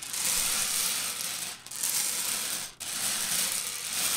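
Hands with long purple nails rake and scratch through a layer of loose, hard-shelled Reese's Pieces candies in orange, yellow and brown, spread on a white table. The pieces clatter in a continuous, bright, high rattling wash. The sound briefly dips twice before resuming.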